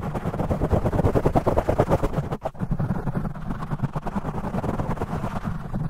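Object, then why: Foam microphone windscreen. Fingertips scratch fast and aggressively on both sides of a black foam microphone windscreen, with the audio sped up 2x. The result is a dense, rapid, muffled crackling and rubbing with heavy low-end thumps, briefly dipping in the middle before continuing.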